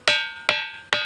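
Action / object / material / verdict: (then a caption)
strike / ringing rock (stone boulder) / stone / ringing. A ringing rock, a stone worn into pits from constant striking, is struck three times, giving its real ringing sound. Each strike is a bright, metallic, bell-like clang with a clear high tone that fades quickly before the next hit.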